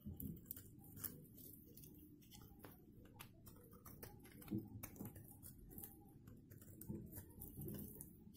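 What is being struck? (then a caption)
Bar of soap scraped with a knife. A hand-held, solid blue-and-white striped dry soap bar is scraped and cut with a metal knife blade. It makes a quiet run of dry, crunchy scraping and crackling with short clicky snaps, while the shavings pile up below.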